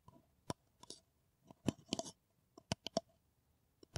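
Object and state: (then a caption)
Paper coffee cup tapped with nails. A hollow kraft paper coffee cup is tapped with long nails. Irregular, quick, dry clicking taps come in scattered bursts, each dying away almost instantly with a slight hollow tone and some bright, scratchy edges.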